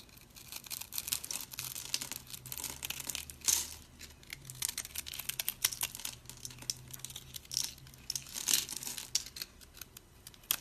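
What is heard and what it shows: A thin metal blade cuts and scrapes cubes off a hand-held, rounded, white speckled block of dry, solid soap held by a hand with long purple nails, sending crumbs onto a pile of soap pieces. Dense, bright, dry crunching and crackling runs throughout, with louder scraping bursts around 3.5 and 8.5 seconds. A faint low hum sits underneath.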